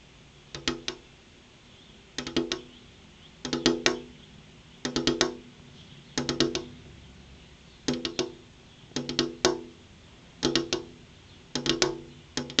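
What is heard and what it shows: A large, solid, flat glass window pane fixed in its frame is tapped with long purple-painted fingernails in rhythmic bursts. Groups of quick, bright clicking taps ring briefly around a mid pitch with short, dry decays, separated by pauses across the clip.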